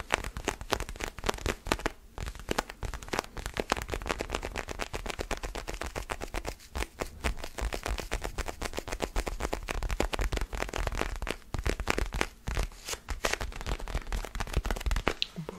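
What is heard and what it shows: A small solid orange foam basketball stress ball is held in both hands close to the mic and scratched and tapped with fingernails. A dense, rapid run of dry, crackly taps and scratches continues for the whole clip, with a heavy low thump from the close mic and short, bright clicks that stop almost instantly.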